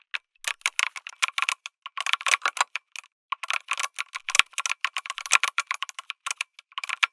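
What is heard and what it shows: Fingertips type on a lit mechanical keyboard with an aluminum case and plastic keycaps, producing rapid bursts of sharp, bright clicks and clacks with very short decay. There are occasional brief pauses between flurries of keystrokes, and no low-end thump.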